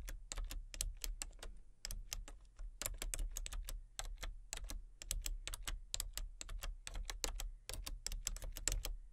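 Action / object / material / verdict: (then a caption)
tap / plastic computer keyboard / plastic / none. Fingertips and nails tap rapidly on the letter keys and numpad of a full-size plastic computer keyboard with a colour-changing backlight. The result is a quiet, steady stream of short, bright clicks with brief pauses, over a constant low hum.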